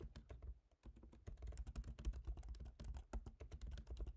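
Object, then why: Laptop keyboard, plastic keys in metal body. Both hands type rapidly with their fingertips on a MacBook Pro keyboard, black plastic keycaps set in a silver aluminum body. The result is a quiet, fast, irregular stream of short, dry key taps with a soft low thump beneath each click, briefly pausing just before the one-second mark before continuing steadily.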